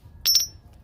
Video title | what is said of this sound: 爷爷用一车砖换银元，几十年后拿出来变现，没想里面竟有大珍【大哥谈银圆】 | it also sounds like metal. But not the gold of the past